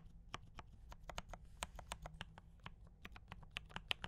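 Both hands type continuously with fingertip taps on a compact D84 mechanical keyboard with brown switches and cream and red plastic keycaps. About 18 quick, dry, bright keystroke clacks sound over a faint, steady low rumble, each dying away almost instantly.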